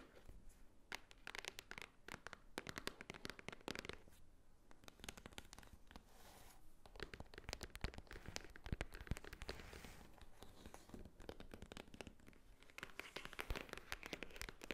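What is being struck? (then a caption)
Cardboard gift box. Fingernails tap and scratch the front and top of a white Swarovski-branded cardboard or paper gift box (or envelope) held upright. The result is a quiet, continuous run of quick, dry clicks and crackly scratching that stops short with no ring, and it grows denser in a few bursts.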